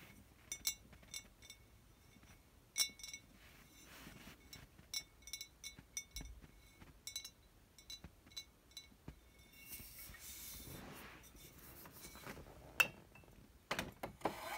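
Glass wine bottles are tapped and clank against one another, giving a run of short, bright clinks with a high ringing tone that dies away almost at once. Between the taps there are softer rustling and shuffling sounds, with a longer broad hiss near the middle.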